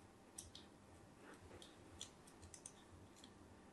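A thin metal blade scores crosshatch lines into the surface of a solid, palm-sized cream bar of soap, leaving a grid pattern. Quiet scratching and cutting strokes come through as several short, crisp, bright clicks and scrapes over a faint low hum.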